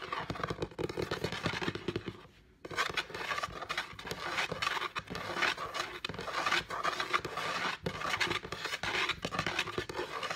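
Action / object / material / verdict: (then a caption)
scrape / wooden tabletop / wood / none. Medium-length painted nails and fingertips scratch and tap across the top of a flat, solid wooden table, with a phone lying untouched at the side. Dense, dry scratching mixes with quick, sharp taps that fade almost instantly, their energy concentrated in the mids around 1.2 kHz and extending into a bright, hissy top. There is a short pause just after two seconds, and then the busy scratching and tapping resume.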